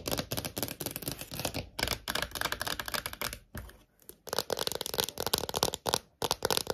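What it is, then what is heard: Clear plastic phone case tapped with nails. Long nails tap fast on a small, thin, hollow clear plastic phone case with a heart print. The result is dense bursts of crisp, bright, clicky taps that stop almost instantly, broken by a few short pauses.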